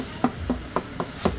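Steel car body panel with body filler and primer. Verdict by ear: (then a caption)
Thin filler. Five short, dull knocks on a dented steel car body panel that has been straightened, covered with only a thin layer of body filler and primed. Each knock gives a brief hollow tap that dies away almost at once. The panel still sounds like sheet metal, showing the filler is not thick, whereas before the repair it sounded like plywood.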